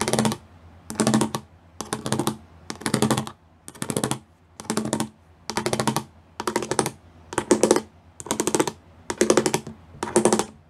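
Long nails tap quickly across a gray plastic sheet with raised pyramid studs. The taps come in about twelve short, separate bursts of crisp, bright clicking with short pauses between them.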